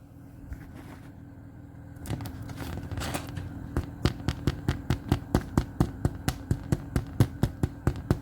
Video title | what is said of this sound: Miss Pauley Bakes Bread | Do you know how you know that bread is ready? When you tap it, it makes a hollow sound.